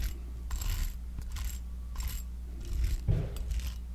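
A small, palm-sized, round pink silicone facial cleansing brush with a soft bristled surface is held in one hand while a metal back-scratcher claw is scratched across its bristles. Short, bright, raspy scratching bursts repeat over a steady low hum, with one stronger scrape near the end.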